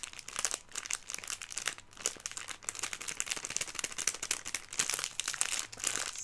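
Fingertips and nails crinkle and squeeze a filled Airheads plastic film candy bag. Dense, bright crackling bursts come one after another with almost no low end, quick sharp crinkles rising and falling in loudness throughout.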